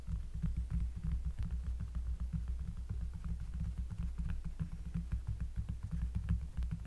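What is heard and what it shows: Fingers tap rapidly on a cork surface, close up. The result is a steady stream of soft, deep, bassy thumps with a low hum-like throb and very little brightness, each tap fading quickly.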